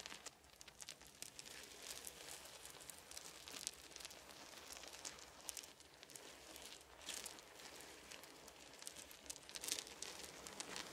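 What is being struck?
Small wooden beads on a blanket.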